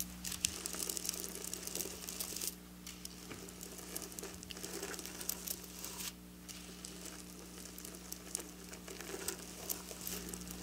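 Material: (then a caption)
Metal sequins. Long black nails scratch and trace across flat silver sequin fabric, making a dense, bright, crinkly rasping with many small clicks. The scratching runs almost continuously, briefly easing at around 2.5 and 6 seconds, over a faint steady low hum.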